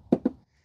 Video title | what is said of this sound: The Winner Is Clear.. - DJI Power 1000 Vs EcoFlow Delta 2 Portable Power Station Comparison | you could just hear it's a much more solid sound to it, and it also feels a lot more thick as well